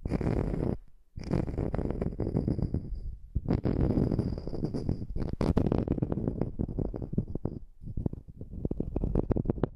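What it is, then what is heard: Wood slice coaster. Long nails tap and scratch the face and edge of a small, solid, round wood slice coaster held near the microphone. The result is dense, low, rumbly scratching with quick clicks, broken by a few brief pauses.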